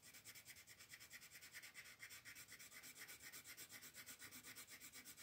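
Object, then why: Colored pencil on a paper coloring page. A green colored pencil is rubbed back and forth across a paper coloring page from a floral tattoo coloring book, with the sheet held down by the other hand. The sound is a quiet, steady run of short, scratchy, bright strokes with a hiss concentrated around 2 kHz and above, and almost no low end.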